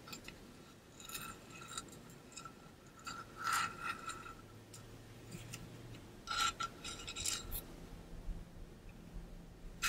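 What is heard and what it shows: Nails scratch and fingers rub the coated surface of a tall, pink-to-blue ombre stainless steel water bottle held upright. Soft, steady scraping is broken by brighter bursts of scratching, each carrying a faint metallic ring near 1.35 kHz that fades quickly.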